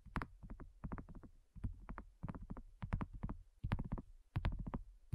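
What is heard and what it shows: Long nails tap quickly on a flat, round, pink dotted silicone coaster that is thin and solid. The taps come in rapid clusters, each a dull, low, muffled thud with a faint bright click at the start that dies away almost instantly.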